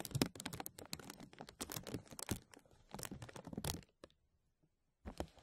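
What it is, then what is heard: Thin plastic bag crinkling. Fingertips pinch and rub the top of a thin translucent plastic bag draped over a metal mesh microphone, producing dense, bright crinkles and sharp crackles. The crinkling runs steadily for almost four seconds, fades to a few faint ticks and near-silence, then starts again briefly just after the five-second mark.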